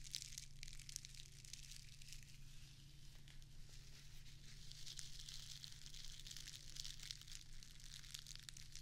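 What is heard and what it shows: A small square of plastic artificial grass turf is held in one hand while its blades are scratched and squeezed with long acrylic nails. The result is a quiet, continuous, dense crinkling and crackling, with bright, hissy texture over a steady low hum.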